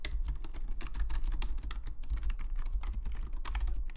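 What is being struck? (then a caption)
Plastic membrane computer keyboard. Fingertips of both hands type rapidly on a full-size black Logitech membrane keyboard with plastic keycaps, lying flat on a desk. The result is a dense, steady stream of short, soft plastic key clicks with bright ticks over a constant low hum.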